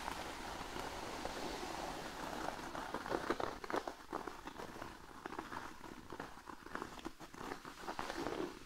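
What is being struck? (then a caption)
Thin cork sheet. Fingernails on both hands scratch and tap across a large, flat, thin cork sheet lying on a blanket. A steady, dry, crackly scratching runs throughout, broken by sharper, brighter taps clustered around the middle and again near the end.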